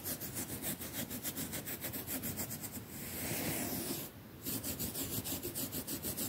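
A hand scrubs a large, flat quilted cotton mattress cover with a soft padded top using a plastic toothbrush in back-and-forth strokes, possibly over sprinkled baking soda. Quick, rhythmic, bristly rubbing strokes give way to a steady, continuous scratchy hiss. After a brief quieter pause, the rapid strokes resume.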